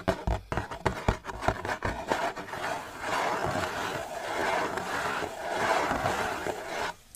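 A hollow blue cardboard Gelato sandwich ice cream box, held in one hand, is tapped with the fingers of the other hand: about eleven quick, dull, hollow taps in the first couple of seconds. Then come several seconds of steady, papery scratching and rubbing on its surface before the sound stops.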